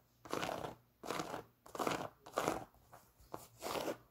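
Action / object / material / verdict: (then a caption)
scrape / knit textile sneaker with foam sole / knit textile / none. Long nails scratch the white knit textile upper and foam Boost sole of an empty Adidas NMD sneaker. Repeated dry, scratchy, crunchy strokes come in bursts separated by short silences, with the louder strokes early on and smaller ones near the end.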